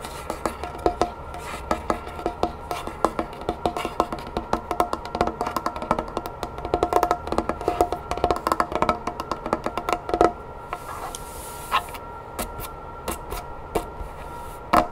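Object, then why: Wooden tabletop. Long red nails and fingertips tap and scratch quickly on a dark, polished solid wooden tabletop. The result is a dense stream of short, dry clicks with almost no ring, a woody knock around 1.3 kHz, and bright transients. Near the end, a softer scratching passage is broken by a few sharp, isolated taps.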